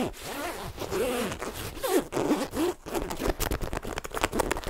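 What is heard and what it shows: Fingertips and nails scratch the fabric of a black padded nylon parka worn on the body and handle its purple-trimmed zipper and printed strap. Continuous dry scratching and rustling carry curving, whistly zip-like tones in the low-mid range, with brighter crackling scrapes toward the end.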